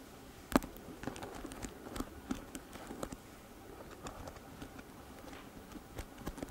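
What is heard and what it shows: Long nails strum and scratch across the stiff plastic bristles of a pink plastic paddle hairbrush held close to the mic. The result is a quiet run of short, dry ticks and scratchy patter, with one sharper snap near the start.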